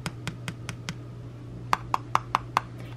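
A fingertip taps the centre of the flat gold metal canning lid with screw band on a small glass mason jar full of red tomato sauce, standing on a red towel beside other jars, as when checking the seal. Five soft, dull taps are followed by five louder, sharper taps with a brief mid-pitched ping that dies away almost at once. A steady low hum runs underneath throughout.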